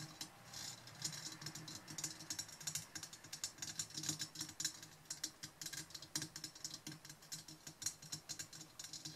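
Long nails scratch and tap the round metal mesh grille of a silver Blue Yeti USB microphone standing upright, briefly touching its side knobs. The result is a dense run of bright, crisp scratching and quick ticking taps, each dying away almost at once, over a faint steady low hum.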